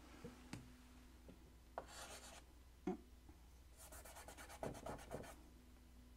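White chalk held in the fingertips scratches strokes onto a large, flat black chalkboard in a wooden frame. Short, bright, rasping scrapes and light taps come in quick bursts, over a faint, steady low hum.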